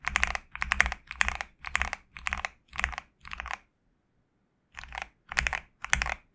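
Fingertips type on a GMK67 65% mechanical keyboard with a black case and white PBT plastic keycaps. Short bursts of quick, bright, clacky keystrokes with a dull low thud underneath each press come in a loose rhythm. About a second of silence falls in the middle before the typing bursts pick up again.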